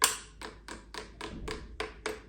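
The hard plastic top of the chainstay protector on a Propane bike is tapped repeatedly with a finger. It gives a string of short, dry, bright clicks with little low end, each dying away almost at once.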